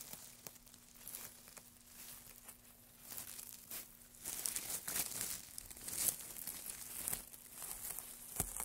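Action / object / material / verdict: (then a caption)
scrape / wood shavings / wood / none. Hands in white cotton work gloves dig into, crumple and rustle a large loose pile of thin, dry, light-coloured wood shavings on a black surface. The sound is a bright, crisp crinkling and crackling with scattered sharp snaps over a faint steady low hum. The rustling swells louder in the second half.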